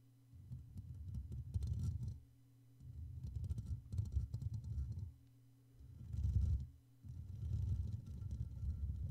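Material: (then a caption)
Metal mesh. Fingertips and short nails on both hands cup, rub and tap the hollow black metal mesh grille of a Blue Yeti microphone. This makes a dense, deep, rumbling scratch that swells and fades in four long stretches, with brief quiet gaps between them.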